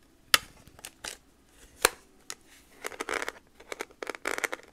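A hand-sized TI-30X IIS plastic scientific calculator with a hollow case is tapped with long nails on its keys, front and back. Two sharp, bright clicks stand out early, then quieter taps give way to quicker, irregular bursts of light, crisp tapping. Each tap is short and dry, with almost no ring and little low end.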